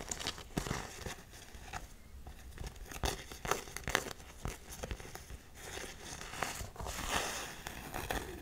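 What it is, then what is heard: Canvas sneaker. Long nails tap and scratch on an empty black canvas Converse high-top, working over both the canvas and the edge of the rubber sole. Quiet, close, dry taps with no ring alternate with crinkly, rasping scratches, the clicks sharp and bright against the rustling fabric texture.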